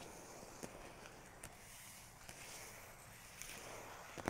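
Fingertips and long nails tap and trace across the paper pages of an open, large photography book laid on a photo and text spread, without turning any pages. Soft, brushing scratches run over a steady quiet hiss, broken by several short, sharp taps that are slightly brighter.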